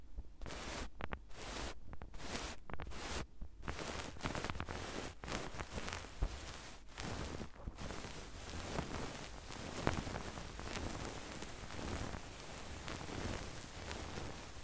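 A small spiral notebook with a pink sparkly faux fur cover, held flat, has its fur scratched and rubbed with a mini microphone grille. The result is a close, continuous brushing and rustling texture with quick scratchy strokes throughout. The sound is mostly low and muffled.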